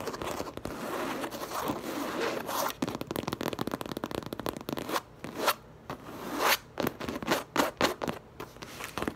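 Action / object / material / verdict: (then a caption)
scrape / coated canvas tote bag / coated canvas / none. Long lavender nails from both hands scratch and tap fast across the printed coated canvas front of a tote bag. A dense, dry scraping texture fills the first half, then breaks into separate sharp, bright scratch bursts with short gaps between them.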